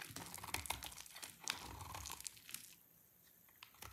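A utility knife blade scrapes a solid, dry orange soap bar into a pile of thin shavings, making dense, bright, crinkly scraping with sharp crisp ticks. The quick strokes run for nearly three seconds, then drop to near quiet before a few faint scrapes return at the end.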